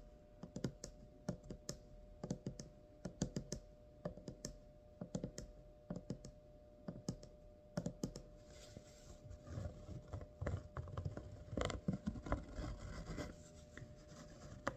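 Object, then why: Taut cotton fabric in a wooden embroidery hoop. Long purple-painted nails and fingertips tap and scratch along the raised stitching of a colorful thread-embroidered butterfly on white cotton fabric stretched taut in a round wooden embroidery hoop about 20 cm across, tracing the embroidery across its thin, hollow, drum-like surface. Quick, dry, muffled taps with a low thump come in scattered bursts. Over the second half they give way to a denser, rustling scratch.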